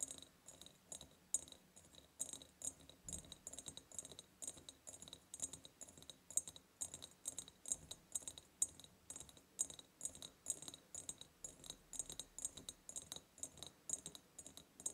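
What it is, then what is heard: Glass jar tapped with fingernails. Long purple nails tap rapidly on the ribbed sides of a large, hollow, clear glass jar, producing a steady stream of short, bright clicks with a high glassy ring. Each tap decays almost instantly, and the quiet sound sits mostly in the high range with very little low end.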